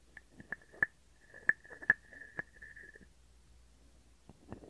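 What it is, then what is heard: Wooden frog guiro. A hand-sized, hollow, carved wooden frog held in one hand is scraped along its ridged back with a wooden stick. It makes quick, sharp wooden clicks over a steady, hollow tone around 1.7 kHz that rings through the first three seconds. After a pause, a few softer clicks follow near the end.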